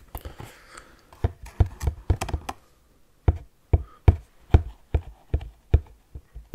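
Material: Cardboard.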